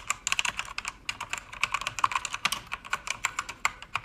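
Fast typing with fingertips and long red nails on a pink-backlit mechanical keyboard with plastic keycaps produces a dense, irregular stream of short, crisp clicks and clacks. The keystrokes are bright and snappy with almost no low end and die away instantly, running steadily for the whole four seconds.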